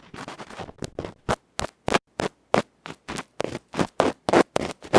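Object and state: Electret microphone capsule scratched directly on its felt face.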